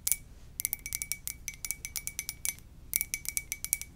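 Long dark nails tap rapidly on an empty, hollow white ceramic coffee mug with a lips print, held in both hands. Around 24 quick, bright clicking taps come in irregular bursts, each ringing only briefly with a faint steady tone and a pause near the middle.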